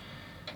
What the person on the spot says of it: it clearly sounds like metal